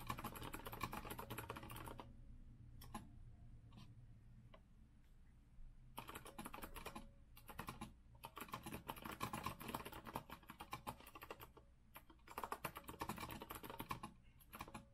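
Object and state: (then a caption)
Mechanical keyboard typing. Both hands type with their fingertips on a rose-gold retro Azio mechanical keyboard with a metal frame and round plastic keycaps. Dense bursts of sharp, clacky keystrokes are broken by short pauses, with quieter, scattered taps between about 2 and 6 seconds. A steady low hum runs underneath throughout.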